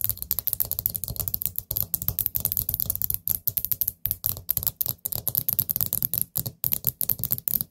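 Long acrylic nails tap and scratch the gold stem lid of a small, hollow, orange glazed ceramic pumpkin-shaped candle pot. The result is a rapid, steady stream of short, dry clicks, each with a bright, high tick over a soft low knock. Every tap dies away at once with no ringing, and faint scratching fills the gaps between them.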